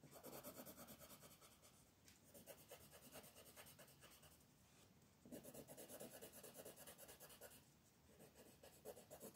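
A hand with long painted nails rubs a wooden colored pencil back and forth on a thin paper coloring book page lying flat on a wooden table, shading the drawing. Quick, steady, scratchy strokes rasp with a midrange tone around 500 Hz and a bright hiss, easing softer for a few seconds before picking back up in firmer bursts.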